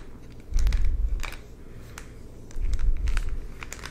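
A hollow purple plastic supplement jar with a paper label is handled, tapped and rubbed with the fingertips. Two stretches of low, muffled rubbing and crinkling swell up and fade, with scattered bright little clicks and taps between them.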